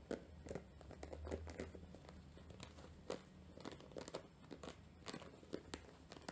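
Long nails scratch across the rough, fibrous surface of a round, flat, dry natural loofah pad about the size of a palm to a hand, porous and held in both hands. Quick, dry crackling scratches and crinkly rasps come in irregular bursts over a faint low hum. Each scrape stops almost instantly, with no ring.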